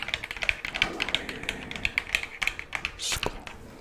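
A hollow plastic skull decoration is held close and tapped and scratched with long claw nails. About twenty quick, bright, dry taps with a hollow ring near 2.5 kHz are followed by a short hissy scratch near the end.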